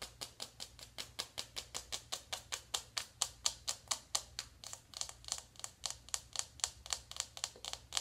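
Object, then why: Cardboard makeup palette tapped with fingernails. A small, closed navy cardboard eyeshadow palette is held in one hand while the long acrylic nails of the other hand tap rapidly on its cover. About 38 bright, dry clicks follow in a steady, quick rhythm, each dying away almost instantly, over a faint low hum.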